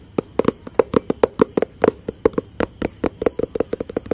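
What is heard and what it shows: A hollow white and blue cardboard product box is tapped with the fingertips in a quick, irregular rhythm of 24 short, dry taps. Each tap gives a soft, hollow knock centered around 465 Hz, dying away almost at once with little low end.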